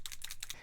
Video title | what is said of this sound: TESTING 20+ MINERAL/COMBO SUNSCREENS FOR THE FACE! BEST & WORST 2021 SPF ROUNDUP - OVER 60 BEAUTY | You have to shake it up. You can hear the little balls in there.